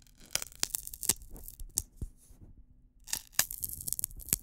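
A single long, thin, hollow, dry wheat straw drinking straw is held across both hands close to a microphone while fingertips rub and pinch along the stalk. Sharp, bright crackling tears and crunchy snaps come in quick bursts, with a quieter stretch of soft rubbing in the middle before the crackling resumes.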